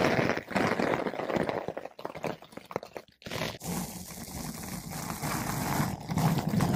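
A flat paintbrush with blue synthetic bristles brushes a large, soft, porous yellow-pink foam ball windscreen fitted over a microphone. Close, muffled scratchy brushing strokes come in quick, uneven bursts, briefly pausing near the middle before a steadier, denser rustling with a low rumble takes over.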